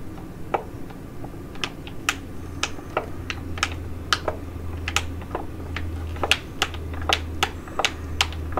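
Long acrylic nails tap and scratch the crinkly surface of a Neogen Super Hydra Aqua Capsule Mask, a flat, thin plastic/foil sachet holding a sheet mask, held in both hands. About two dozen sharp, bright clicking taps ring out separately over a steady low hum, each dying away almost at once.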